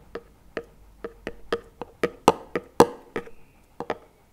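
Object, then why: Plastic tub. A small plastic chocolate spread tub lies on its side with two wooden chopsticks laid across the lid, rubbed and knocked against it. Thirteen short, dry, hollow knocks come at an uneven pace, some closer together, with brief scraping between a few of them.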